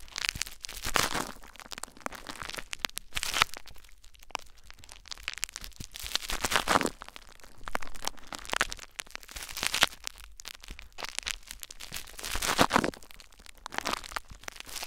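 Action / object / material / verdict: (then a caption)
scrape / plastic bubble wrap / plastic / none. Cupped hands press and rub clear plastic bubble wrap laid over a recorder with their fingertips. Dense, bright crinkling and sharp crackles come in repeated swelling bursts, with quieter rustling in between.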